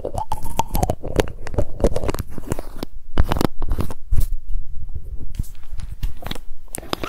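Long fingernails tap rapidly on a small glass supplement drink bottle with a pink label and an orange cap, held in the hands, striking both the glass and the label. The result is a fast, irregular stream of short, dry clicks and soft knocks with almost no ring after each one.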